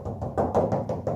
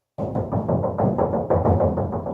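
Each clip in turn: First: About seven quick knuckle knocks, dull and mid-pitched, dying fast: a steel hood panel damped by its insulator liner. Second: Quick run of knocks with a low, drum-like boom and tinny rattle: a bare steel hood panel sounding hollow.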